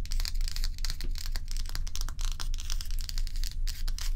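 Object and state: Ice block.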